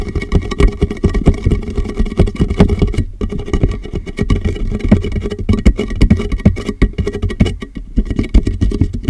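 Fingertips and nails tap rapidly on the sides of a large, empty, hollow clear plastic (PET) jug held upside down over the microphone. The jug covers the mic and colors the sound, giving dense, muffled, boomy pats with a deep low thump and almost no high end. Each tap dies away almost instantly, with a brief lull near the three-second mark.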